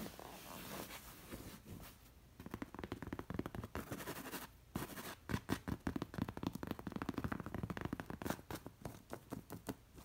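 Long nails scratch the short-haired cowhide cover of a stuffed pillow crossed with black leather lacing, and fingers pull and trace along the straps. The result is a quiet, dense run of dry scratching and rubbing strokes, softer and hazier at first, then sharper and more clustered.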